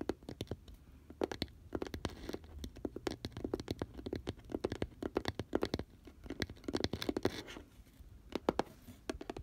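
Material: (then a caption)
Cardboard. Fingernails of both hands tap and scratch along the rim of an open, hollow, pink glitter-coated round cardboard box. Rapid dry ticks and short scratchy rasps come in uneven bursts, with a mid-low hollow tone and almost no ring after each contact.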